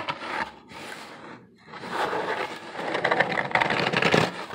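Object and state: Corrugated cardboard box.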